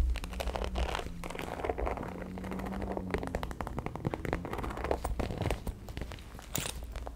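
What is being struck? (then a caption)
Faux leather handbag. Long acrylic nails scratch and tap the surface of a medium-size, black, glossy, croc-embossed faux leather handbag, hollow and closed, held up close to the microphone. A steady stream of crisp, crackly scratches and light taps sounds over a low rumble, with short bright clicks scattered throughout.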